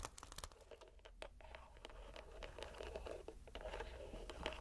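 A palm-sized purple squishy rubber stress ball, soft and likely gel-filled, is squeezed in the hand inside a white net so bubbles push through the mesh. Quiet, rapid crinkling and squelchy crackles are heard, with brief clicky pops that grow slightly denser and louder toward the end.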